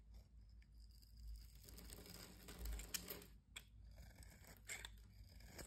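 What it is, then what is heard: Soap bar carved into flakes. A metal blade carves the scored surface of a solid green bar of soap held in the hand, breaking it into crunchy flakes. The quiet, steady crisp scraping and crackling carries bright highs over a low rumble, with a few sharper crunches standing out along the way.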